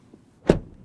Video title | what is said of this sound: Asa arata viitorul AUDI! Noul Q6 scrie o noua pagina în cartea de istorie a brandului | it sounds full when you close the door